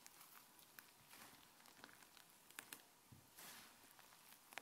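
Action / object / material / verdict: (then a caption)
scrape / fluffy white slime / slime / none. Fingertips with dark nails press, pull and stretch soft, fluffy white slime on a grey countertop, near a microphone that is not touched. Quiet, wet, sticky squishing with bright crackles and small pops comes in short bursts, and a few sharper snaps stand out.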